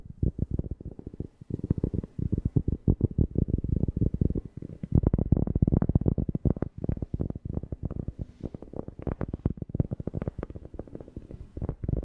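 A cork object is tapped rapidly and steadily close to a FIFINE K690 microphone, producing a fast run of deep, bassy thumps. Each tap is short and dry with almost no ring, and the sound stays concentrated in the low end with little brightness.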